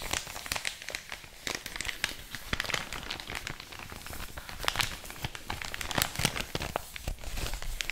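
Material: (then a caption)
Paper. A large, thin, empty white paper mailer bag is scratched, rubbed and crinkled across its creased surface by long orange nails. Dense, bright crinkling and crackling fills the clip with many short, sharp scratches that stop almost instantly. A soft low rumble sits underneath.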